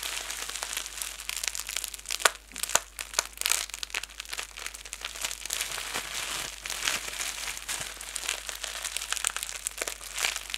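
A fist-sized ball of clear plastic bubble wrap is cupped in both hands, squeezed and pressed by thumbs with painted nails. It gives a steady stream of bright, dense crinkling with scattered sharper crackles and almost no low end. The crackles are quick, dry and close, and stop at once without ringing.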